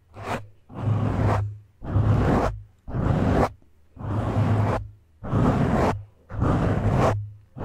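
Fingertips and short nails scratch the sides and top of a black foam windscreen on a microphone, using both hands. The result is eight separate bursts of dense, rustling scratch noise, the last one cut off. Each burst has a heavy low rumble and spreads up into bright hiss, with short silences in between.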